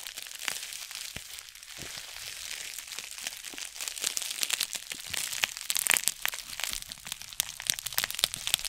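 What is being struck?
Plastic bubble-lined mailer envelope.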